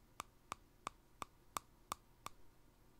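A small empty clear glass jar with a green plastic handled lid is held in one hand and tapped on its glass side with fingertips and nails. Seven quick, evenly spaced taps sound, each a short, bright click with a ringing tone around 1.2 kHz that dies away almost instantly.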